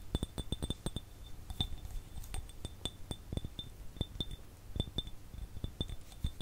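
An empty, hollow, clear glass jar is tapped with fingertips and fingernails close to the mic. It gives an irregular stream of quick taps, each a dull low thump with a bright, glassy clink on top. The taps die away almost instantly, with no lingering ring.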